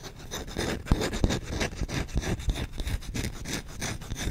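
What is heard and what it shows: A solid wooden spoon's bowl is rubbed and scratched rapidly with short nails and fingertips. The result is a dense run of fast, uneven scraping strokes with short, dry taps and a soft low thud under a bright, rasping hiss.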